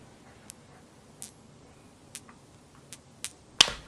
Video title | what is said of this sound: FAKE SILVER? 8 Ways to Test For It | even coins with that low amount of silver will have a very distinctive ring to it